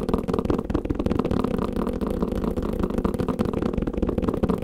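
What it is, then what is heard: Kalimba carrying case. Fast tapping on a kalimba carrying case produces a dense, continuous patter of dull, muffled taps. The sound sits mostly in the low and middle range with almost no bright content, and each tap dies away almost instantly.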